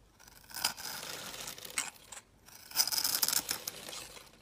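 A solid rectangular green bar of soap with a scored surface, held in the fingers, has scored cubes cut off it with a utility knife blade. Crunchy, bright scraping and cutting bursts come in two main passes, with a short pause between them.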